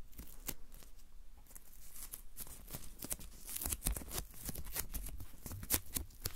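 A wide strip of thin, translucent white paper masking tape, held in both hands, is folded and stuck to itself, then peeled apart with the fingers. The result is a run of quick, sticky crackling peels and crinkles: short bright snaps over a faint low rumble, with the louder pulls bunched toward the middle and end.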